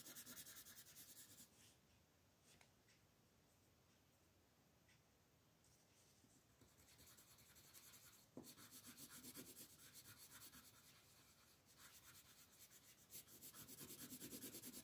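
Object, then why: Colored pencil on a paper coloring page. A blue colored pencil makes continuous shading strokes on a flat paper coloring book page lying on a table, while a hand with long nails holds the page. A soft, dry, rasping scratch repeats in quick back-and-forth strokes, thinning to quieter strokes in the middle and growing brighter and louder toward the end.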